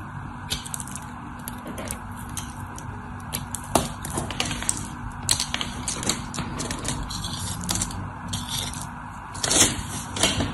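A white, solid rectangular bar of soap held in the hand is scraped and scored with a craft knife blade, shaving and cutting into it. Crisp, dry scratching and crackly clicks repeat over a steady low hum, with bright, brief cuts standing out at times and a louder burst of scraping near the end.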